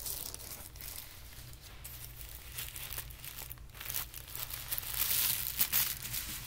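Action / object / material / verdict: scrape / folded tissue paper / paper / none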